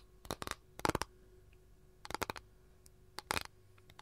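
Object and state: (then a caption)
Capiz shell tray. Long nails tap and scratch near the edge of a flat, empty capiz shell tray, producing three quick bursts of sharp, bright clicks and short scrapes. Each tap is dry and dies away almost instantly against a quiet background with a faint steady hum.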